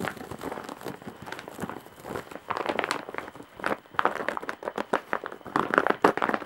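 Long nails scratch across the weave and top edge of a large embroidered woven straw/jute bag. The result is a busy run of dry, crinkly scratching and crackling, with quick bursts concentrated in the mids and little low end.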